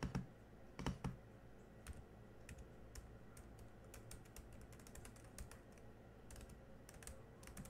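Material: Plastic.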